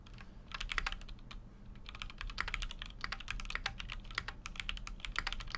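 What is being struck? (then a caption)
Mechanical keyboard with aluminium case and plastic keycaps. Fingertips type continuously on a full-size Keychron Q6 mechanical keyboard with an aluminum case and plastic keycaps. The result is a rapid, uneven stream of short, bright clacks that die away almost instantly, over a steady low hum.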